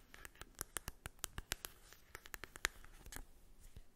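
Long acrylic nails tap and scratch across the printed surface of a small, flat, hollow cardboard mini eyeshadow palette held in the hand. Around twenty quick, dry, bright clicks land at an uneven pace, each dying away almost instantly. A soft, papery scratching fills the gaps between them, all at a quiet level.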